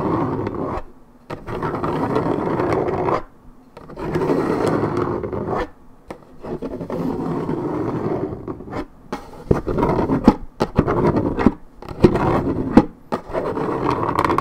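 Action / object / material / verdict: scrape / coated paperboard juice carton / paperboard / none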